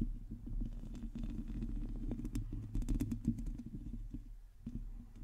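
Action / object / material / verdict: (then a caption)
scrape / metal mesh microphone grille / metal mesh / none. Long teal acrylic nails on both hands scratch directly across the hollow metal mesh head of a large black USB microphone. The result is a dense, steady, low rumbling scrape with a hum around 230 Hz, broken by quick, bright clicking ticks that cluster and grow louder near the middle before easing off.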